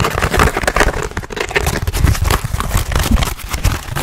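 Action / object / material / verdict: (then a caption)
scrape / foam sheet / foam / none. A soft, solid dark gray or black foam block or sheet is held in both hands and scratched fast with fingernails. The result is a dense, continuous stream of rapid, crackly scratching with a heavy low-end rumble and little high brightness.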